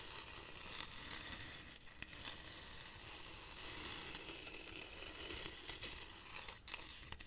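A hollow, dried-cactus wooden rainstick is held upright close by and scratched with long pink nails, and the pebbles inside may also rattle. The result is a steady, bright, crackly hiss like sizzling or crinkling, broken by a few sharp ticks, with one brief louder snap near the end.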